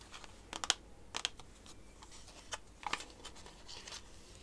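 A small, hollow, sealed Totoro playing-card box, made of printed cardboard with a clear plastic window over the card deck, is held in both hands and tapped and scratched with long painted fingernails on the front and back. Sharp, bright clicks and taps come at irregular intervals between soft, crisp scratching rustles, with no ring afterward.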